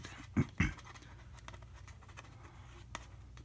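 A fingernail taps and scratches the label area of an empty clear plastic Welch's juice bottle standing upright. Two sharp, louder taps land early, followed by soft, faint scratching over a low steady hum, with another light tap near the end.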